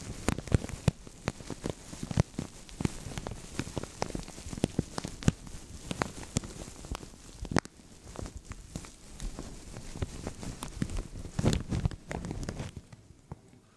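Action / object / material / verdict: tap / thin plastic bag over a microphone / plastic / none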